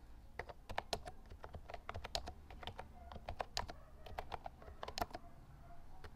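Fingertips type continuously on a lilac plastic Actto Retro Pop mini Bluetooth mechanical keyboard with round keycaps. The result is a quick run of sharp, bright clacks with a faint mid-pitched ring on some strokes, over a low, steady background rumble.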